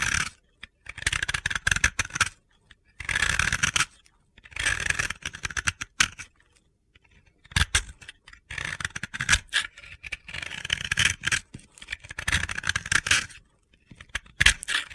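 A palm-sized white and lilac pressed-powder bath bomb, held in the hand, is scraped with a metal utility-knife blade. Bursts of dry, gritty, crunchy scraping with bright hiss come in repeated strokes separated by short pauses.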